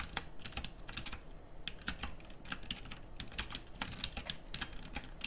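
Fingertips type on a pink, backlit plastic mechanical keyboard with round, typewriter-style keycaps. Bright, clicky keystrokes fall in an uneven, rapid run, each a short, crisp snap over a faint low rumble.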